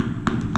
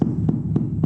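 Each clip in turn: First: Two short, tight taps with a mid-high click and no boom: a ceramic floor tile firmly bedded. Second: Four low, dull knocks on a floor tile, boomy rather than ticking, a hollow spot with no solid bed.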